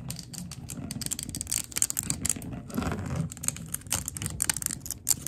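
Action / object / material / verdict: tap / glass candle jar / glass / none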